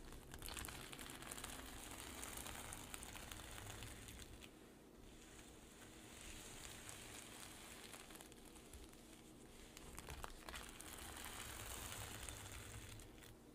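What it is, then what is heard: Sequin fabric pouch. Long pink nails tap and scratch across the plastic sequins of a flat rainbow reversible-sequin pouch with a black zip edge lying on a table, flipping the sequins to silver. A dense, steady stream of bright, crinkly clicks and scraping rustles runs throughout, easing slightly around the middle before picking back up.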